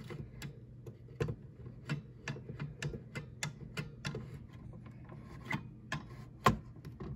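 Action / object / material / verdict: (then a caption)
tap / plastic rotary desk telephone / plastic / none. Long yellow nails and fingertips handle a green vintage rotary-dial desk telephone with a hollow plastic body and handset: the dial is turned, then the handset and cradle are tapped and scratched. A quiet series of short, sharp, dry clicks and taps sounds over a soft scratching rustle and a low steady hum, with a faint tone near 1 kHz. The loudest tap comes near the end.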